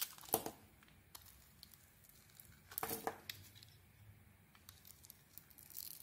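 A small metal blade carves thick slices from a solid red, glitter-coated ISANA bar soap with a white interior, held in the hand. Crisp, crackly scraping cuts come in two louder bursts, one near the start and one around the middle, with soft ticks and faint scrapes in between.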